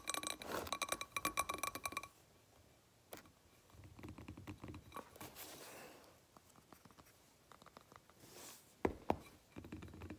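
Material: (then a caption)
Glass. Long painted fingernails tap and scratch the glass of a medium blue glass candle jar filled with solid wax. It opens with about two seconds of quick, bright clinking taps with a faint ring, then shifts to quieter, softer scratching strokes with scattered light taps. A couple of sharper, louder taps come near the end.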